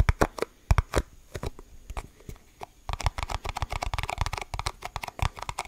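A small, thin, hollow, empty clear plastic cup is held up to the mic in both hands and tapped and squeezed with the fingertips. Sparse, sharp plastic taps and soft crinkles come first, then after about three seconds they turn into a dense, rapid run of crackly taps and squeezes. Each hit is dry and short, with a hollow low thump under a bright click.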